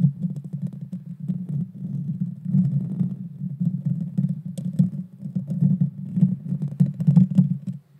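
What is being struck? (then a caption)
Small round metal mesh microphone grille. Long dark fingernails scratch the small, hollow, round metal mesh grille of a Blue Yeti Nano microphone. The result is a continuous, dense, low, rumbling scrape made of rapid overlapping strokes, with faint bright ticks scattered on top.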